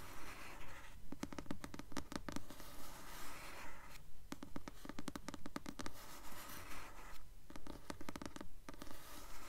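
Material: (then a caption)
Paper. A blue paperback copy of the novel "Delirium," with a solid glossy paper cover and held upright, is scratched gently with long nails. The result is a steady, rhythmic run of soft, dry scratching strokes that rise and fall in quick, regular bursts, with most of the energy low and muffled.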